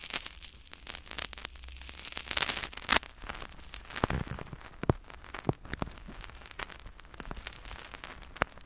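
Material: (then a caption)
Foam. Two identical small white-and-black soccer-pattern foam/PU stress balls, solid, are held in both hands beside the mic and squeezed and scratched with fingertips and thumbs. A dense, bright crackle of fine scratches and quick clicks runs throughout, with a louder rustling surge partway through and sharp isolated snaps scattered over a soft low rumble.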